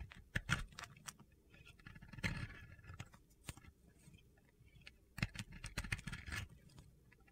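A metal utility blade shaves and scrapes the sides of a solid white Oscar de la Renta bar soap, which narrows as it is carved. Short, crisp scraping and crunchy cuts come in bursts over a soft, low rumble, with brief quieter gaps between strokes.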